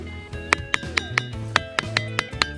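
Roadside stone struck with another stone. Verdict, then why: Ringing. A roadside stone on Iki Island is struck nine times with another stone from the same area, and each strike gives a sharp, clanging metallic ring like iron, centered around 2 kHz with bright overtones. The ringing is thought to come from some component in the rock. Background music plays underneath throughout.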